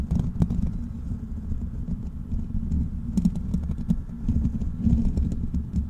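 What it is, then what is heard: Metal mesh microphone grille being scratched. Fingertips of both hands scratch the hollow black metal mesh grille of a large desktop microphone. The result is a steady, dense, muffled scratching and rumbling, mostly deep and boomy, with quick dry taps and faint bright ticks scattered throughout.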